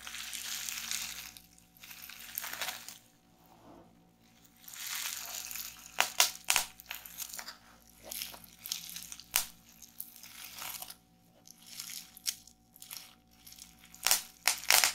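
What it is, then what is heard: Plastic bubble wrap. A roll of clear plastic bubble wrap is held in both hands while long-nailed fingers squeeze and twist it. Bright, dry crinkling comes in bursts, broken by sharp pops of bubbles bursting that grow more frequent near the end.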